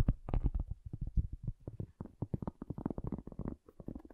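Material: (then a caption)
Cork. A cork object is tapped in a quick, uneven series of soft, dull knocks. The taps are low and muffled with almost no brightness, and each dies away almost instantly with no ring.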